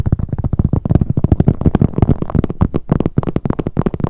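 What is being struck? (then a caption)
Leather handbag. Long acrylic nails rapidly tap and scratch the front of a medium black glossy leather handbag with handles, which is hollow. The dense stream of quick, dull taps sounds low and muffled with a soft scratchy texture, each tap dying out almost instantly.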